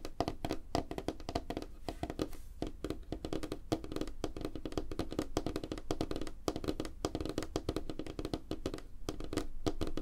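Fingertips and nails of both hands tap fast on a flat, solid, light-colored wooden tabletop. A dense, continuous stream of short, dry taps mixes low thuds with mid-pitched clicks, each dying away almost instantly with no ring.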